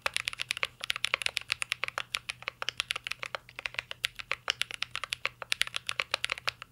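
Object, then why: Mechanical keyboard with plastic keycaps and metal case. Fingertips type continuously on a mint-green Cyberboard R3 mechanical keyboard with plastic keycaps and a metal case. The result is a rapid, steady stream of sharp, bright clicks and clacks with almost no low end, each tap dying away instantly.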